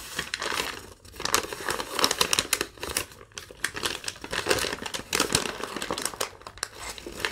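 A thin, wrinkled sheet of yellow lined legal-pad paper is held in both hands and crumpled, crinkled and folded with long nails and fingertips. Dense, bright crackling rustles come in uneven waves, with brief quieter pauses between them and almost no low end.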